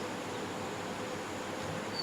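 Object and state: Nothing is struck.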